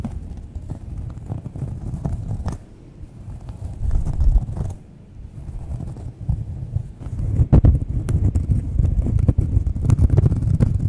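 Long nails scratch and tap a thin, solid, round cork coaster held in both hands close to the mic. The result is a dull, low, muffled rustle of irregular scrapes and soft taps, with quieter lulls early on and firmer, louder taps toward the end.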